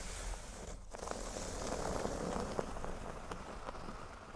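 Fingernails scratch a flat, thin, solid cork board resting on a table, first along the top edge and then across the center. The result is a steady, dense, crackly rasp with a low rumble beneath it and scattered sharp ticks. There is a brief dip in the scratching just before the one-second mark.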